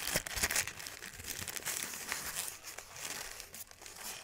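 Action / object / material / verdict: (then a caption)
scrape / thin paper sheet / paper / none. A thin white crumpled paper sheet is smoothed and crushed by both hands, giving a dense, continuous crinkling with quick, irregular crackles. The sound is bright and papery, mostly high-frequency with little low end, and each crackle dies away almost instantly.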